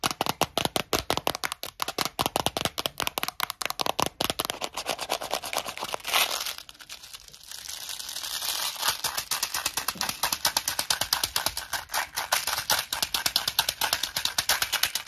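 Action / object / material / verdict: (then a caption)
tap / small plastic box of mints / plastic / none. Long nails tap and scratch the top and sides of a small, clear plastic Tic Tac box full of mints with a paper label. A rapid stream of bright, dry plastic clicks runs almost continuously, with a softer scratching stretch near the middle before the quick tapping picks up again.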